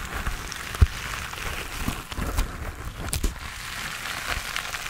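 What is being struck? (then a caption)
Foam sponge on a foam handle. Fingertips and nails scratch and tap the textured surface of a hand-sized grey foam sponge on a tan foam base, solid and porous, held in both hands. A steady, soft, crackly scratching hiss with low rumble runs throughout, broken by a few short, dull taps, the sharpest near the start.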